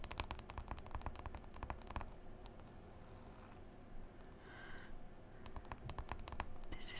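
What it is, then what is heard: Smartphone glass touchscreen. Long nails and fingertips tap and scroll across the glass screen of a smartphone in a white folio case, making quiet, scratchy clicks. Dense bursts of sharp, dry taps open and close the clip, with softer scrolling swipes and a faint bright swish in the quieter middle.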